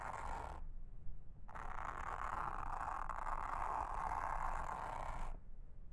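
A pink mascara spoolie brush, held in a hand with long red nails, brushes and scratches across a flat, solid round blue silicone trivet mat with a honeycomb texture lying on a table. A brief scratchy pass is followed by a pause and then a long, steady brushing stroke, a dense airy hiss centred in the midrange with bright edges over a faint low rumble.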